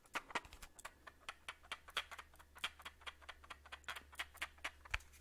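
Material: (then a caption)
Plastic. Fingertips and nails tap and scratch a palm-sized clear plastic audio cassette tape with a hollow shell and tape reels inside, held in both hands. A quick, uneven run of short, bright, hollow plastic clicks and taps fills the clip, each dying away almost at once over a faint low steady hum.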